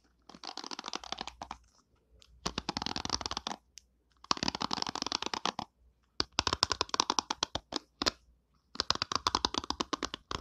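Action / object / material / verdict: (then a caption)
flick / plastic hairbrush bristles / plastic / none. Long nails strum the white plastic bristles of an orange plastic hairbrush held close to the mic, producing fast, dry clicking rattles with a bright, crisp top end. The strums come in five bursts separated by short silences.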